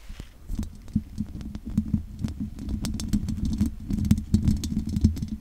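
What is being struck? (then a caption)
Metal mesh microphone grille scratched with long fingernails. Long nails scratch over the top and sides of a large condenser microphone's hollow metal mesh grille. The result is a dense, boomy, low-heavy rustle with a hum-like tone, broken by many sharp, bright ticks and clicks that come in uneven bursts throughout.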